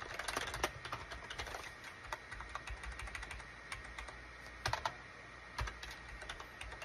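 Fingertips type on a full-size gray and cream SHIPADOO K600 wired USB plastic keyboard with a hollow plastic case, resting on a desk mat. It makes a quick run of short, clacky key clicks, with a few louder bursts, over a faint steady background tone.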